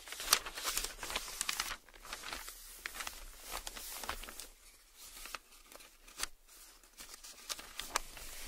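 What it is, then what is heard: Newsprint paper. Large, thin newsprint newspaper sheets lie flat on a table as a bare hand flips a page over, then the palm and fingertips rub and smooth the sheet flat. Bright, dry crinkling and crumpling rustles come in quick, uneven bursts with sharp papery crackles, fading between strokes into soft, breathy swishes.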